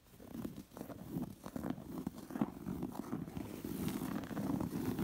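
Long nails scratch the raised embroidery and ruffled fringe edge of a soft, stuffed round embroidered cotton pillow. The result is a steady run of soft, dry scratching strokes with a low, muffled body, close and quiet.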